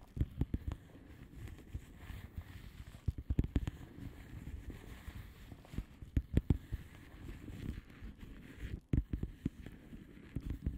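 Long manicured nails of both hands tap and scratch across a flat blue plastic bubble wrap mailer envelope with air-filled bubbles. Quiet, dull, low-pitched taps land in irregular clusters over a soft, steady scratching rustle. Each tap stops almost instantly with no ring.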